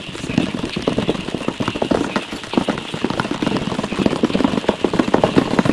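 A medium rectangular cardboard tissue box with a geometric print and an oval opening on the side is held in one hand next to a furry windscreen mic and tapped rapidly with the fingertips and nails of the other hand. The result is a dense, fast, uneven pattering of short, hollow, dull knocks centered in the low mids, with faint brighter clicks from the nails.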